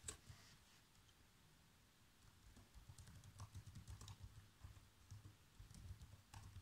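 Fingertips with short nails type across the keys of a black plastic chiclet laptop keyboard. Soft, quiet taps each combine a low thump with a brief bright click. They start sparse and grow into a steadier, denser patter from about three seconds on.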